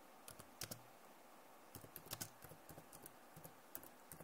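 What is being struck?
Plastic laptop keyboard keys.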